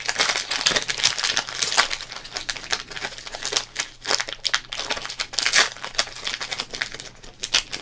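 Fingertips crinkle and fold the thin, printed plastic wrapper of a small Topps trading card pack. The result is a continuous stream of bright, crackly crinkles with quick, dry bursts that stop instantly, nearly no low end, and a faint steady hum underneath.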